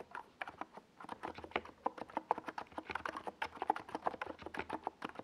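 Fingertips of both hands type steadily on a compact 68-key NiZ Plum Atom 68 mechanical keyboard, with a white plastic case and tall purple and yellow Domikey Gas Attack SA plastic keycaps, resting on a desk pad. The result is a rapid stream of short, dry plastic clacks, each dying away almost instantly, with a clicky tone centered near 875 Hz.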